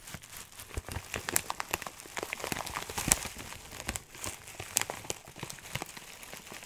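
A clear plastic bag filled with dry herbs is crunched and crinkled with fingertips. It makes a steady, dense run of bright, crisp crackles and short snaps, with a few sharper pops standing out. Each crackle dies away almost instantly, leaving little low rumble.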